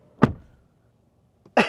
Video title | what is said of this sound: 2025 Lynk & Co 06 Review - Zigwheels.Ph | it sounds solid that that thunk. It's very reassuring.